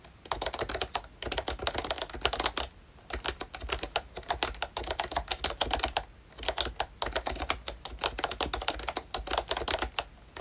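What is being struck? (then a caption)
Plastic membrane keyboard with round keycaps. Fingertips of both hands type steadily on a ROYCHE Disney Mickey Mouse full-size pink retro keyboard, with a plastic case, round dark green plastic keycaps and membrane switches. Quick, soft plastic taps come in bursts separated by brief pauses, with a bright clicky edge and short, dry decay.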